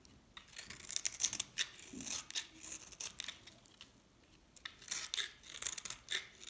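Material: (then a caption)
Soap. A knife shaves crunchy flakes off a hand-held, solid green bar of dried soap. Quiet, dry scraping comes in bright, crisp bursts, with short pauses between strokes.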